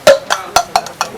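A set of six plastic drinking glasses sold as unbreakable is dropped onto the floor, making a series of hollow, clacking knocks with a mid-pitched ring and bright edges that fade quickly. The glasses stay intact after the drop.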